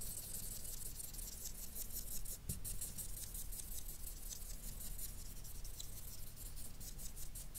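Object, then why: Felt-tip marker on a paper sheet. A felt-tip marker's nib scrubs quick, dense shading strokes across a flat sheet of white paper, colouring it in. Rapid, bright scratchy swishes repeat over a steady low hum, with only a brief pause midway.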